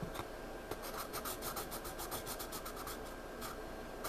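Fingertips rub across the page of a spiral-bound paper sketchpad lying flat, then a pencil scratches and shades on it. The result is a quiet, dry papery rasp of quick repeated strokes with a bright, hissy edge over a steady soft background.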